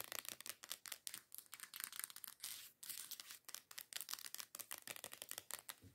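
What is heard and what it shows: Long acrylic nails rapidly tap and scratch a medium teal plastic body scrub bottle lying on its side; the bottle is hollow and its contents are unknown. About 28 quick, dry, bright clicks sound with almost no low end. Each dies away instantly, with a brief scratchy scraping stretch midway through.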